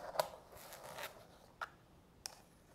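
Long natural fingernails tap on the domed inner insert of a small, hollow, empty, frosted translucent plastic manicure soak bowl, and then fingertips dip into the bowl. Four quick, sharp, bright plastic clicks stand out over soft rustling, with a hollow tone around 625 Hz. Each click dies away almost at once.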